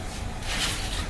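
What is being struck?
Nothing is struck.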